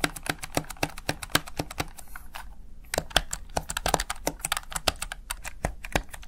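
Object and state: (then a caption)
Plastic gaming keypad. Fingertips rapidly press and tap the backlit keys of a plastic Razer Tartarus Chroma gaming keypad, making about 37 sharp, bright clicks with a brief pause partway through. A faint low hum runs steadily underneath.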